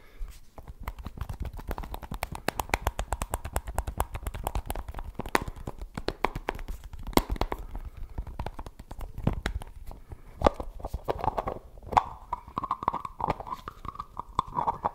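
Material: Plastic.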